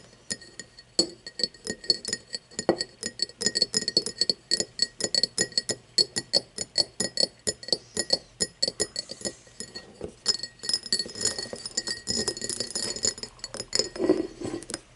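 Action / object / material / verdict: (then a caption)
tap / cut-crystal glass tumbler / glass / none. Long nails tap and scratch quickly across the faceted side of an empty, hollow cut-crystal tumbler lying on its side. Dozens of bright, crisp glassy clinks sound with a high ringing tone, each dying away almost at once, while soft scratching fills the gaps.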